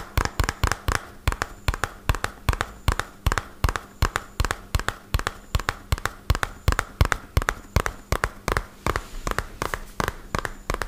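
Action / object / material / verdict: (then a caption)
tap / small cardboard box / cardboard / none. A small, hollow white-and-purple printed cardboard medicine box, held upright, is tapped rapidly with fingertips and short nails. About fifty quick, unevenly spaced taps each give a short, dry, hollow thump with a bright click on top. A faint low hum sits underneath throughout.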